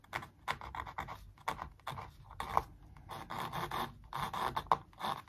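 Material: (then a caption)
Canvas. A thin wooden stick traces and scrapes along the printed lines of a large stretched canvas print on a wooden frame, hollow-backed behind the canvas. Quiet, dry scratching strokes come in short, uneven bursts, centered in the midrange around 1 kHz with a faint papery hiss on top. Each stroke stops dead with no ring.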